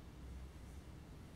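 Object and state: Nothing is struck.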